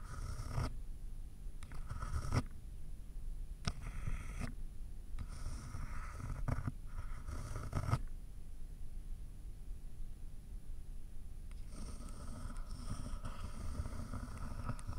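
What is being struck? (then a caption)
Pen on a paper sheet over a layered board. A pen tip traces over the handwritten word "Hello" on a white paper sheet resting on a solid layered board block. Soft scratchy writing strokes come in bursts with short pauses between them, over a low rumbling background.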